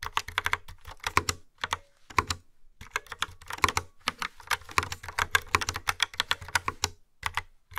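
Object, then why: Plastic mechanical keyboard. Fingertips with long nails type on a hollow, yellow-framed plastic mechanical keyboard with dark round keycaps. Bright, clacky keystrokes land in quick uneven bursts with short pauses, each click dying away almost at once over a faint low thump.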